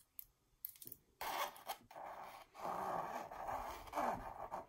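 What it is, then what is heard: Textured canvas scratched with fingernails. Long purple nails scratch and trace the raised, embossed texture of a red and gold mandala-pattern canvas wall art. A few sharp ticks open the clip, then it turns to sustained raspy scraping with a mid-range hiss that swells and fades in strokes.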